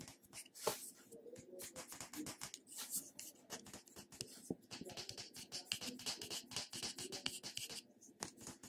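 A small purple plastic cosmetic jar is held in one hand while fingertips and short nails tap and scratch its lid and sides. The result is a quick, dense run of soft, bright clicks and scratchy brushing with a faint hollow tone underneath, each tap dying away almost immediately.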